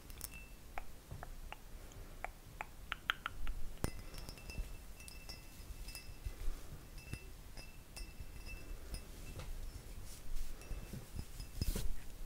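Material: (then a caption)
Glass. A glass object is tapped with the fingers, producing a series of light, bright clinks and taps with short ringing tones over a low, quiet background. The taps come irregularly, some closely clustered and others spaced apart, with a few louder clinks near the end.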